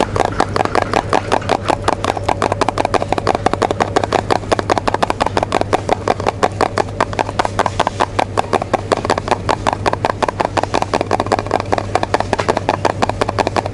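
A small, full, sealed cylindrical metal food can with a colorful paper label is held in one hand while the fingertips and nails of the other hand rapidly tap and scratch its lid and rim in a supermarket aisle. The result is a steady stream of quick, dry metallic clicks with a mid tone around 730 Hz and almost no ring, over a constant low hum.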